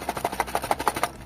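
A cardboard Blokees Saint Seiya Galaxy Version 01 blind box, holding three tightly packed plastic bags of figure parts, is shaken quickly up and down. Twelve short, dry, woody knocks centred around 820 Hz come in a steady rhythm with a light, bright plastic rattle. The sound is dense and full, showing a full box whose parts can be heard.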